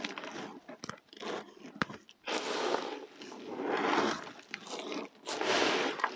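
Hands scoop, press and rub a heap of dry, crumbly, multicoloured soap pieces, crushing and breaking the chunks. Dense, gritty crunching comes in bursts of several seconds, each with a broad hiss reaching high, separated by short quieter gaps with sharp crackles.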